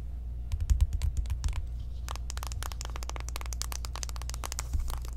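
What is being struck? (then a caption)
Small cardboard makeup palette box. Long acrylic nails tap fast across the surfaces of a small, flat, hollow pink cardboard eyeshadow palette box held in the hands. Quick, dry, bright clicks come in dense bursts, with a short pause near the middle, over a steady low hum.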